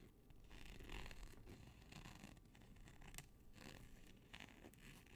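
A flat black nylon hook-and-loop (Velcro) strip of thin textile, held stretched out in both hands near but not touching the microphone, is scratched with fingertips and nails along its hook side. The result is a rapid, uneven, zipper-like scratching in quick rasping bursts, with bright crackly highs over a low rumbling body.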